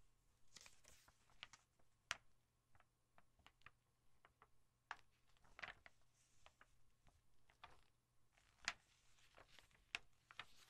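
Long painted nails rest on and tap the thin glossy paper pages of an open softcover National Geographic travel catalog held flat on a dark surface. The result is an irregular series of quiet, bright, tick-like taps that stop short with almost no ring, over faint soft rustling and a low steady hum.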